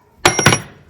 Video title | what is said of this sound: कूलर और पंखा में लगने वाले पक्की सपाट और कॉपर के बूस का होलसेल प्राइस। , fan spare parts #fanparts | यह देखो टन की आवाज आएगी